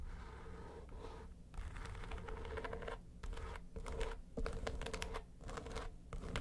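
Long nails tap and scratch the lid of a flat, hollow yellow case with a textured faux-leather covering. Dense, rasping scratch bursts with brief quiet gaps are heard over a low, hollow body resonance and a faint steady tone near 450 Hz.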